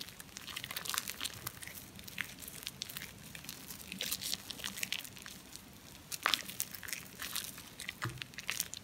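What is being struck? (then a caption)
Ball of compressed soap shavings. A solid, foamy, wet ball of compressed Dalan soap shavings is rubbed and squeezed between cupped palms and fingertips. The sound is a quiet, steady run of bright, crackly crinkling and squishing, with sharper crunchy bursts near the middle and end and very little low end.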